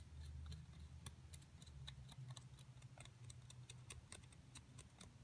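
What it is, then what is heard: Plaster block being scraped and picked. A thin metal pick rapidly scrapes and picks inside the dug-out cavity of a solid plaster excavation block, crumbling the plaster while a hand with long nails holds the block. Quiet, sharp, bright clicks and ticks come in an irregular rapid series over a steady low hum. Each tick dies away almost instantly.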